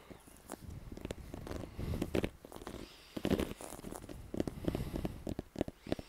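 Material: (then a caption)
Leather. Fingertips and nails tap and scratch the pebbled leather-like cover of a brown Baden American football with white laces, hollow and inflated, held in one hand. Quick, soft, hollow thuds with a low, muffled body come in irregular bursts over a faint scratchy rustle, each tap dying away almost at once.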